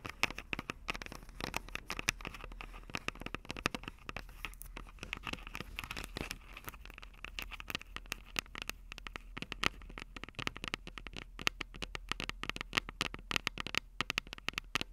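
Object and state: Handheld recorder microphone heads.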